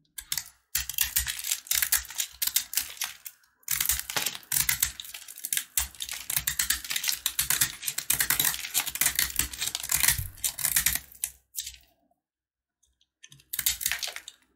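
A box-cutter blade carves and scrapes a solid red and white sugar-coated peanut candy bar, with crumbs falling. Dense runs of crisp, bright, rapid ticking and scraping fill the clip, with short breaks near 3.5 seconds and a longer quiet gap before a final burst near the end.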